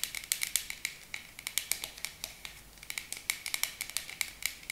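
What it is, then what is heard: Plastic spray bottle tapped with nails. Long acrylic nails tap on a tall, dark plastic body mist spray bottle with a pink cap. The result is a rapid, irregular run of sharp, bright clicks with almost no ring after each one, and a brief lull in the middle.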